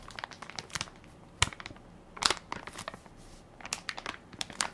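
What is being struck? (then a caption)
Soft plastic-film wipes pack. A full, soft plastic-film baby wipes pack with a plastic lid is held in one hand while fingertips and nails crinkle and press its film top. Irregular bursts of bright, dry crinkling and crackling come in clusters, with a few sharper, louder snaps. Each crackle stops almost instantly over a quiet background.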